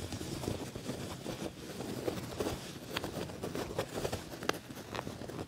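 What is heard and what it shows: Fingernails and fingertips scratch and rub across the padded, ribbed black leather panel of a quilted leather jacket. The result is a steady, quiet, dry scuffing and crackling texture, broken by a few sharper, brighter ticks.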